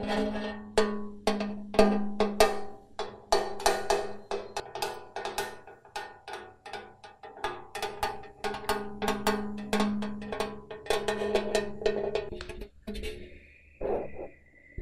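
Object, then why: Carbon steel loaf pan. An empty, hollow, rectangular gold-coloured ribbed carbon steel loaf pan, held up in both hands, is handled and tapped with fingertips and nails. It gives a rapid, uneven run of light metallic taps with a hollow ring around 200 Hz that dies away in about a third of a second. Near the end the tapping thins out into a brief sustained higher tone and a final duller knock.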